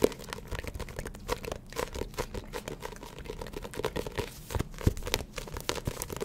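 Long acrylic nails tap and scratch the glossy paper cover of a small, closed paperback Spy x Family manga volume held up close to the microphone. A steady stream of quick, dry clicks and papery scratches follows, with a few sharper taps standing out. Each sound dies away almost at once.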